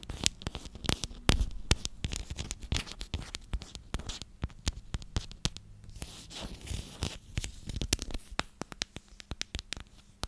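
A hand-sized clear plastic cylindrical container with a purple lid is scratched and tapped on its sides with long nails. Dense, rapid clicks and scratchy taps follow one another closely over a faint low hum. The sharp, bright ticks mix with softer scraping patter.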